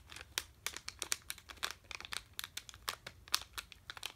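A sealed red plastic M&M's candy bag, full of candy, is held in both hands and crinkled with the fingertips. The result is a quiet, steady run of sharp, bright crinkles and crackles with almost no low end, each snap dying away at once.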